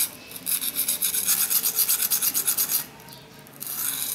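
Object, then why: Steel knife blade on a whetstone. A steel kitchen knife with a black handle is rubbed back and forth across a solid dark rectangular whetstone resting on a tiled floor, with fingertips pressing on the blade. About nine quick, bright scraping strokes come in a steady rasping rhythm, then a brief quiet pause before the scraping starts again.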